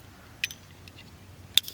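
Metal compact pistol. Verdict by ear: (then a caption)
Empty. A compact metal Kimber Solo Micro 9mm pistol, with its magazine dropped and slide locked back after a malfunction, is shaken up and down. A few brief, bright metallic clicks sound over near silence, and nothing rattles loose. The pistol is empty; the malfunction came from a single bad round.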